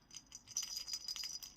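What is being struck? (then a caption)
Crocheted yarn rattle toy. A crocheted yarn rattle toy with a rattling filler inside is shaken, producing a quick series of light, bright jangling rattles with almost no low end. The toy sounds as it should, giving a pleasant rattle.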